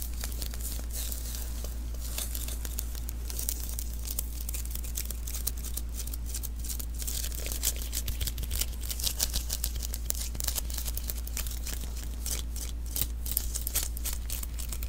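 Fingertips and a palm repeatedly pat the sticky surface of a small hollow adhesive paper roll, a lint roller refill, held in the hands. The result is a steady stream of bright, crackly, tacky peeling sounds over a constant low hum, growing busier in the second half.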